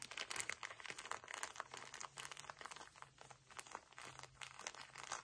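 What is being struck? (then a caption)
Paper tissue pack in a plastic wrapper. A pocket tissue pack in a plastic wrapper is squeezed and crumpled with fingertips. Quiet, bright, dense crinkling comes in quick irregular bursts, with a faint low hum underneath.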